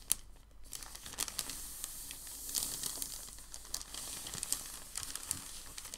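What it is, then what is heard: Packing paper sheet. Fingertips and palms press, fold and smooth a large, thin, white crumpled sheet of packing paper on a dark table. The result is a steady, bright crinkling and crackling, with sharp, quick snaps scattered throughout the rustle.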